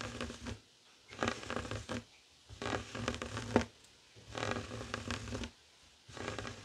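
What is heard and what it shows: Fingertips and short nails scratch a flat, heart-shaped woven tapestry fabric coaster resting on a wooden table. Five bursts of dry, raspy, broadband scratching are separated by short quiet pauses, with a brief sharp tick near the end of the third burst.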